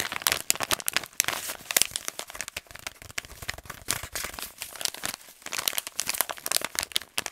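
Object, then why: Kraft paper stand-up pouch. An empty, hollow kraft paper stand-up pouch is crumpled and bent with both hands and fingers. It gives a steady run of dense, bright crinkles and sharp crackles with almost no low end, each crackle cutting off instantly.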